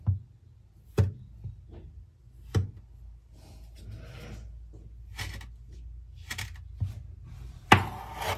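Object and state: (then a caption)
Kinetic sand being cut with a knife. A metal kitchen knife blade, held by hand, cuts and scrapes through several flat coiled rounds of solid, soft orange kinetic sand on a white table, slicing, dragging and pulling the sand apart. About six dull, low thuds land as the blade strikes the table, with soft gritty scraping and brief bright hissing rasps between them. The final cut is the sharpest, followed by a short rustling drag.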